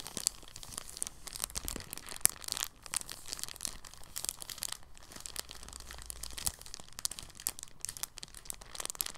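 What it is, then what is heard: Soft plastic bag being crinkled. An empty, thin, clear polyethylene bag lying on a table is folded, unfolded and smoothed with the fingers. It makes soft, continuous crinkling with dense, bright crackles and brief sharper snaps. The sound stays quiet throughout, with little low end and almost no ring.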